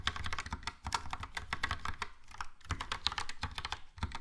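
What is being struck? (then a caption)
Plastic mechanical keyboard. Fingertips type quickly on a Logitech POP Keys plastic mechanical keyboard with a yellow plastic case and round plastic keycaps. The result is a steady run of fast, clacky keystrokes, each with a dull low thud under a bright plastic click that cuts off almost at once.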